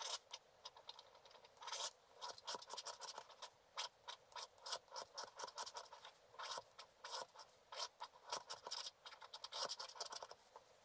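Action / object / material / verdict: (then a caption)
scrape / scratch-art paper card scraped with a wooden stylus / coated paper / none. A wooden stylus scratches the black coating of a flat scratch-art paper card, held by hand, in dense strokes across the upper background. Quick, dry, papery scratches come in rapid bursts, bright and hissy with no low end. Each stroke stops almost instantly with no ring.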